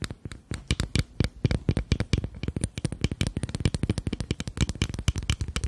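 A small rectangular glass foundation bottle with a black cap, partly full of beige liquid, is tapped rapidly along its sides with long nails. About forty quick, dry taps follow one another in an uneven patter, each a short low knock with a faint bright click and almost no ring.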